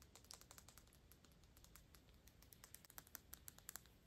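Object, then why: Small glass perfume bottle. A small square Byredo glass perfume bottle with a black cap, partly full of liquid, is held in both hands and tapped quickly with long pink acrylic nails. The result is a rapid, quiet stream of bright, clicky ticks that stop short with almost no ring, over a soft low background hiss.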